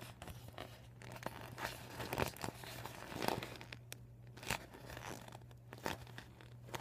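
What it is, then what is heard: Deflated vinyl beach ball. A bunched, empty deflated PVC vinyl beach ball with blue, white and red panels lies on a table while fingers crinkle it and nails scratch the plastic. Dry crinkling and scratchy tearing-like rustles come in quick bursts with brief bright crackles over a steady low hum.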